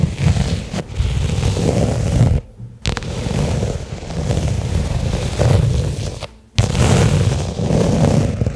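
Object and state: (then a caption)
Leather case. Long nails slowly tap and scratch a small, flat black pebbled-leather case lying on carpet. The result is a dense, muffled, low-heavy rustling and thudding with little brightness, broken by two brief near-silent pauses.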